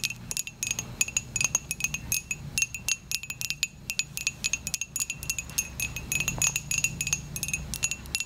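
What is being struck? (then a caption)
Ceramic coffee mug. A dark, glossy ceramic coffee mug that looks hollow and empty is held in the hand and tapped rapidly with long acrylic nails. The clicks are quick and bright, each carrying a short, high ringing tone that fades almost instantly over a faint low rumble.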